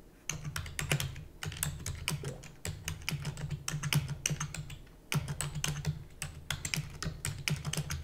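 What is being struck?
Plastic computer keyboard.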